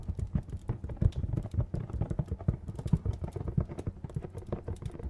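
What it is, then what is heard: Cardboard box tapped and scratched. A hollow, medium-sized printed cardboard retail box is tapped and scratched with fingernails. The result is a rapid, uneven stream of soft, dull low thuds with brief papery scratches. Each tap dies away almost instantly.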